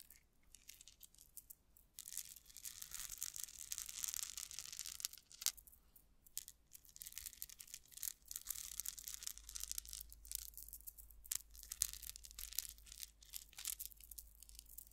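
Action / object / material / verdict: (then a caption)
scrape / metal rhinestone chain tassel / metal / none. A metal rhinestone chain tassel dangles close to the mic while long nails scratch and flick its metal strands, making them rattle. After a near-silent first two seconds, dense, bright, crisp scratching and jingling comes in quiet waves with a few sharper ticks, over a faint low steady hum.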